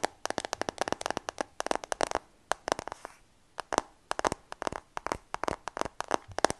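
Fingertips and nails tap rapidly on the back and frame of a new dark iPhone, a solid glass-and-metal smartphone held in both hands. Roughly three dozen short, crisp, bright clicks come in quick bursts with a brief pause around the middle. Each tap stops dead with no ring.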